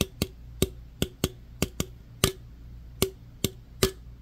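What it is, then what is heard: Aluminum soda can. Fingertips and nails tap and rub the body of an opened aluminum root beer can held in one hand. Eleven short, sharp taps come at uneven intervals, each a bright tinny click with a brief hollow ring around 380 Hz. A faint low hum sits underneath throughout.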